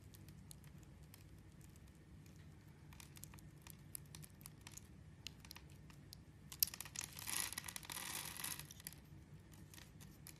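A metal blade scores a grid into a palm-sized, purple, translucent bar of glycerin soap held in the hand, then carves small cubes off its surface. Quiet, irregular, crisp ticks and light scrapes repeat throughout, with a brighter, louder rasping scrape from about 7 to 8.5 seconds as a piece is cut away.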